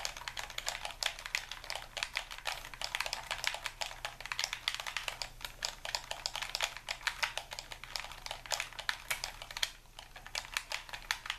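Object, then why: Plastic game controller. A hand-sized, hollow, white plastic Xbox-style game controller is held in both hands while thumbs and fingers rapidly tap its buttons and sticks. Dense, fast, clicky presses with bright, sharp transients and almost no ring continue steadily throughout.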